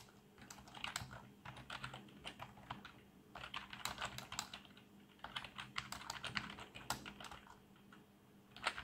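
Two hands type with their fingertips on a black plastic membrane computer keyboard with colored backlight. The result is a quiet, steady run of short, bright, soft clicks that come in quick bursts with brief pauses between them.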